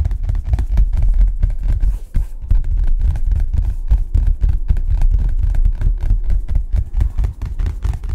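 A collapsible photography gray card, made of taut fabric stretched on a flexible rim, is held up and tapped fast with the fingertips. The result is a rapid, dense stream of dull, low thumps with almost no ring, pausing briefly around two seconds before resuming.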